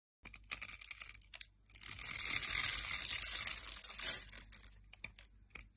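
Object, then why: Bar of soap cut with a metal blade. A metal blade scrapes across the grid-scored surface of a solid mint-green bar of soap held in the hand, and cubes fall away. Crisp, bright ticks and crackles open and close the clip, with a longer, louder hissing scrape in the middle.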